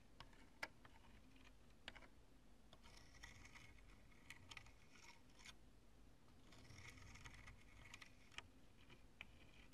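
Long nails tap and scratch the lumps of a chunk of cured polyurethane spray foam with stringy strands. Soft, sharp clicks alternate with bursts of bright, crunchy scratching over a low, quiet rumble.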